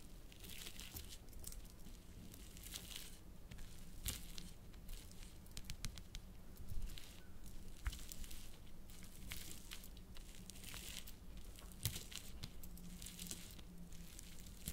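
A metal fork presses, crushes and scrapes through a pile of small blue water-filled hydrogel gel beads (orbeez), already broken into fragments, on a plastic sheet, with a glass bowl of whole beads sitting untouched beside it. The fragments give off a steady run of wet squishing, crunching and crinkling, with bright crackly bursts over a low rumble. Sharp clicks stand out near 4, 7, 8 and 12 seconds.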